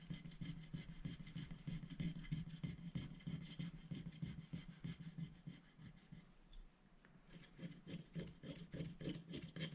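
A wooden stylus scratches fine lines into the coating of a thin black-coated scratch-art sticker sheet, held flat by one hand on a glass plate. Rapid, fairly regular scratchy strokes, about three per second, combine a low rasping body with bright, hissy edges. The strokes briefly soften and thin out around six to seven seconds before picking back up.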